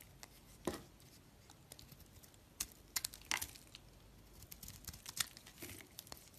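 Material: Soap.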